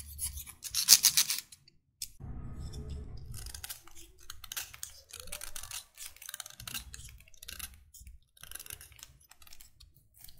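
A solid, finger-length white chalk stick is held in one hand and scraped along its length with the metal blade of an orange utility knife, with powder falling onto a wooden table. The sound is a series of dry, bright, raspy scraping strokes, some sharp and hissy and one a longer, lower grinding pass, separated by short pauses.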